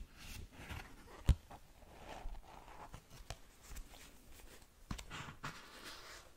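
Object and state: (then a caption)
Paperback manga book. Long nails scratch and tap the glossy cover and page edges of a small paperback manga. Quiet, soft rubbing scratches are broken by brief, dry taps, with one sharper tap standing out early on.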